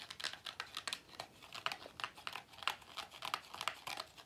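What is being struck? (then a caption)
Pleated paper vacuum cleaner filter. Fingertips rub and squeeze the pleats of a hollow, cone-shaped pleated paper vacuum cleaner filter with a black rubber base. The result is a quiet, dry, bright crinkling and scratching made of quick, papery crackles with almost no low end, each bursting and stopping almost at once.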